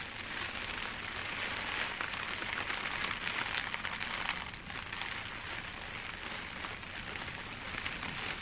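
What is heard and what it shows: Bunched clear plastic bubble wrap is held in both hands and scratched and squeezed with long dark-painted nails. It gives a dense, continuous, bright crinkling that holds steady throughout, with a brief dip midway.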